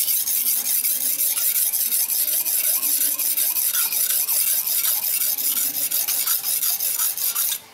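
A steel knife blade is held at an angle and stroked along a solid dark rectangular whetstone resting on a tiled floor, with fingers pressing down on the blade. It makes a steady, bright rasping rub of steel on stone in quick back-and-forth strokes, with faint rising and falling squeaks, until it stops abruptly near the end.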